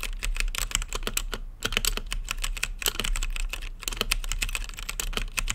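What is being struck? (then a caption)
Mechanical keyboard with plastic keycaps. Fingertips type on an RGB-lit mechanical keyboard with plastic keycaps and a clear acrylic case. The clip is a steady run of about 35 quick keystrokes, each a short, bright plastic click with almost no ring. A low hum runs underneath throughout.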